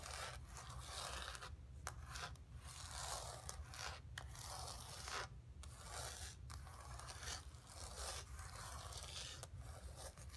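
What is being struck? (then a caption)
Painted canvas board. Long pink nails scratch across the textured paint of a flat painted canvas board lying on carpet. The sound is a steady, dry, bright rasping in repeated strokes broken by brief pauses, over a constant low rumble.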